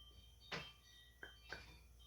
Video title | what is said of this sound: Christmas Gifts | made from resin hear that sounds like wood but it's not